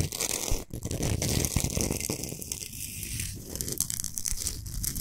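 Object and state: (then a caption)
Himalayan salt block. Long nails scratch fast across the solid surface of a large, flat Himalayan salt block. The result is a dense, crackling rasp of rough scratches with bright, hissy grit on top and a strong low rumble underneath, steady and loud from start to finish.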